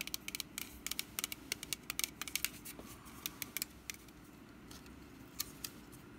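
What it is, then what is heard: Woven wicker pumpkin basket. Long nails scratch and tap the woven surface of a small, hollow orange wicker pumpkin basket, first held and then set on a mat. Quiet, crisp, bright clicks and dry scratches come in an uneven rapid series, each dying away almost instantly over a faint low background hum.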